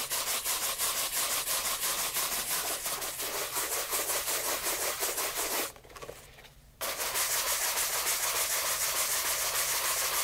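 A light brown leather loafer fitted with a shoe tree is held in hand and rapidly brushed with a wooden-backed horsehair brush. Quick, steady, bright bristle swishes repeat about three times a second, stop for about a second just before the midpoint, then resume at the same pace.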